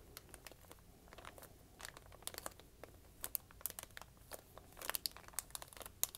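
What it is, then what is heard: Thin paper sheet being folded. A thin white paper sheet lying on a wooden table is folded and creased flat with fingertips and dark-painted nails. It gives a quiet, steady run of sharp, bright crinkles and crackles that die away at once, with brief louder bursts as it is pressed down.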